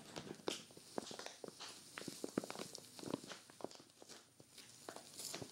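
Long-nailed fingertips press, rub and scratch along the zipper edge of a clear vinyl zippered storage bag filled with a grey knit sweater. Soft, bright plastic crinkles and scratchy rustling are broken by a series of short, sharp crackles and taps that die away instantly, all at a quiet level.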